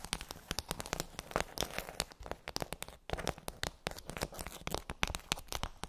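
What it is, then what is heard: Plastic bubble tray tapped with nails. Long acrylic nails rapidly tap and scratch across a pink plastic tray with rows of raised, hollow hemispherical bumps. The result is a dense stream of sharp, dry clicks and crackly scrapes with a bright, hollow plastic snap and almost no ring after each hit.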